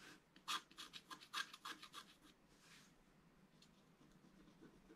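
A pointed wooden stylus scratches lines into the black coating of a thin, flat, roughly A4 scratch-art card with colored foil beneath, which lies on a table while a hand holds it still. About a dozen short, bright, raspy scratch strokes come in quick succession over the first two and a half seconds. They then fade into a quieter, steady scratching hiss.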